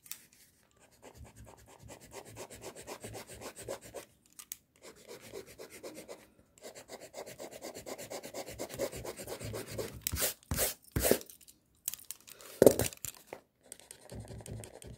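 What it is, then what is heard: Paper drawing sheet being erased. The rubber eraser end of a pink mechanical pencil rubs back and forth over white drawing paper marked with pencil lines, making quick, soft, rhythmic scrubbing strokes with a papery midrange hiss and brief pauses between runs. Near the end, a few louder, sharper broadband scrapes stand out before the gentle rubbing resumes.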